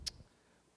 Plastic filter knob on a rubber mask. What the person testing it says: there's not much sound to the rubber, but when you tap the plastic, it's hollow